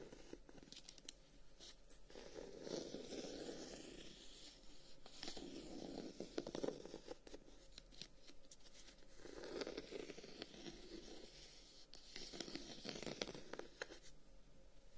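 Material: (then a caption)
Wood. A handheld closed wooden folding fan, with a dark wooden guard and a lighter wood edge, is scratched and tapped along the wood by fingertips. Quiet, dry scratching comes in several low-mid bursts, with small crisp taps scattered between them.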